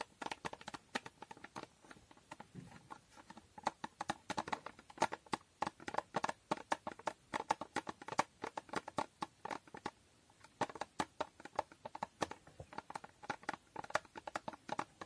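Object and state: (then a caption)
Cardboard box tapped with nails. Long nails tap the side and top of a small hollow cardboard box with a holographic foil finish. Rapid, uneven bursts of quick, dry clicks with a hollow tone around 900 Hz and a bright edge, each dying away almost instantly, with brief pauses between the runs.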